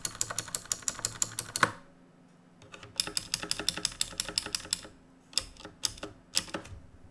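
Fingertips type on the plastic keys of a black RGB mechanical keyboard made of plastic and metal, producing about 32 sharp, bright clicks in three quick bursts separated by short pauses. Each keystroke is crisp and dies away almost instantly.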